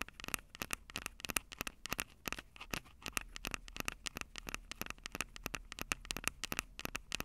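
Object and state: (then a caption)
Handheld audio recorder tapped and scratched with nails. Long acrylic nails tap and scratch the metal mic grilles over the capsules of a Tascam DR-05 handheld recorder with a plastic body. The result is a rapid, irregular stream of sharp, dry, bright clicks with a tone near 2.7 kHz, each dying away almost instantly. A faint scratchy crackle runs between the clicks.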